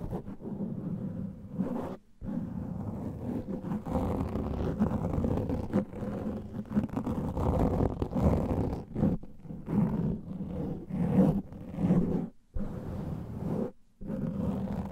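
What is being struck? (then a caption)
Foam microphone windscreen. Fingertips and nails scratch the sides of a black foam microphone windscreen, producing a dense, muffled rustling roar concentrated in the low range with a steady hum-like tone underneath. The scratching swells and fades continuously, broken by brief silent pauses around the 2, 12.5 and 14 second marks.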